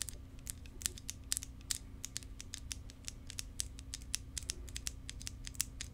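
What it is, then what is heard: Plastic tube tapped with fingernails. Long, decorated acrylic nails tap and scratch along a long, thin, hollow clear plastic tube or wand with yellow inside, held in both hands close to the mic. The result is a rapid series of short, crisp, high-pitched clicks with brief scratches over a low, steady hum.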